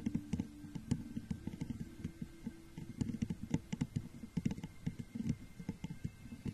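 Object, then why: Textured glass jar. Long nails tap and scratch the sides of a hollow, empty, clear crackle-textured glass jar set over a microphone. Quick, dry, soft taps in an uneven rhythm mix with faint scratching, with a heavy low body and very little brightness. Each tap dies away almost instantly.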